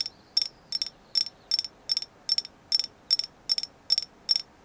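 Tapping on a carved agate moon goddess figure gives 13 evenly spaced bursts of quick, clicky taps, each with a bright, high ring that dies away almost at once. The stone is confirmed to be agate.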